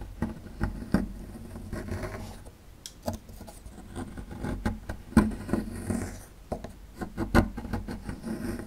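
A small metal chisel-tip tool scrapes a small, solid plaster fossil excavation block, breaking crumbs off it. Dry, gritty scratching is broken by sharp clicks and taps, over a steady low, muffled body of sound.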